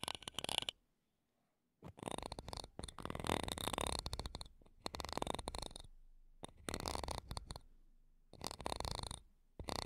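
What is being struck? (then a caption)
Metal mesh microphone grille scratched with wooden toothpicks. Two wooden toothpicks held between long nails scratch the metal mesh top of a small silver condenser microphone's grille. The result is close, crackly, broadband scraping in rapid bursts with short silent pauses, with a bright, hissy edge and some low rumble.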